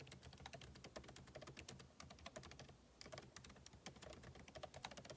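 Two hands type continuously with their fingertips on a backlit MacBook Pro laptop keyboard, with plastic keycaps set in a hollow aluminum body. Quick, light key taps with bright clicky tops and a low, dull thump form a steady run, with a brief lull just before the three-second mark.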